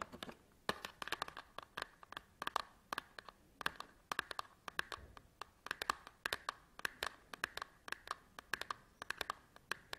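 Fingernails tap and scratch the top edge and face of a small cardboard SanDisk memory card package resting on a table. Dozens of quick, dry clicks and scrapes come in a steady, uneven rhythm, each with a slight papery resonance in the mid and upper range and a crisp, bright edge. The taps are quiet and stop dead, with almost no low end and no lingering ring.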